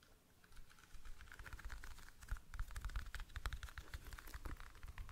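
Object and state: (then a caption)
Plastic toothpick case tapped with fingernails. Fingernails tap rapidly on a small, clear, rectangular, hollow plastic toothpick case, some of the taps up close. The result is a quick, uneven patter of short clicks with a bright edge over dull low knocks, starting softly and growing busier and louder.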